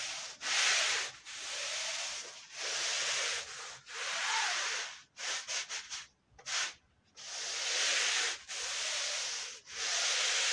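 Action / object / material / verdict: scrape / wool woven rug / wool / none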